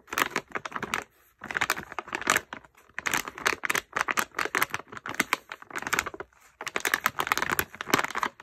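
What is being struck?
Plastic pouch with bath bombs.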